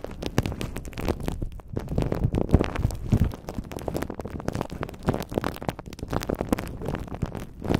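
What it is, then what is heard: Crumpled aluminium foil. Crumpled aluminum foil wrapped around a handheld, microphone-sized shape is squeezed and rubbed with the fingertips of both hands. The result is a continuous run of dense, crackling crinkles with a heavy low-end rustle and short sharp snaps throughout.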